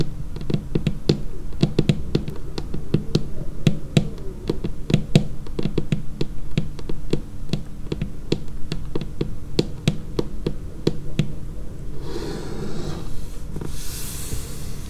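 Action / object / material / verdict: tap / laminated wooden tabletop / laminated wood / none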